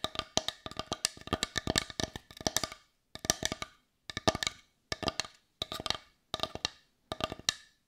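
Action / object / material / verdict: tap / small wooden bowl / wood / none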